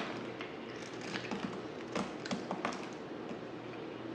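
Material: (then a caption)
Soap. A dry, hand-sized, solid black oval bar of soap is held in one hand and shaved with a yellow utility knife blade, and the curls fall onto the table. Seven short, crisp scraping cuts stand out from a steady low hum and hiss, each a quick bright tick with little ring.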